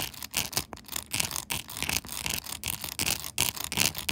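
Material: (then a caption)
Plastic. Long nails rapidly scratch and tap the glued-on pink plastic buttons of a clear plastic phone case fitted on a smartphone. The result is crisp, bright scratching and clicking in quick, irregular bursts with short pauses between them.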